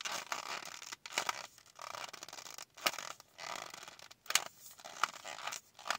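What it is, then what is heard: Cardboard and plastic blister pack. Long nails tap and scratch a small, flat Kiss press-on nail package with a cardboard backing and a plastic blister front holding nails. The result is bright, dry bursts of scratching and rustling, broken by short pauses and a few sharp plastic clicks, with almost no low end.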